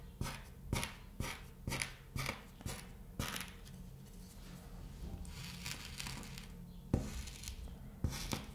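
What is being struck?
Sheet of kinetic sand poked with a thin stick.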